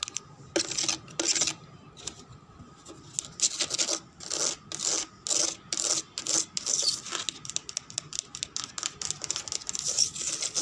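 Long red nails scratch and tap the side of a hollow, empty-looking white translucent plastic jug with a handle, lying on a woven chair. Bright, hissy scratching comes in repeated strokes, mixed with quick light taps and almost no low end.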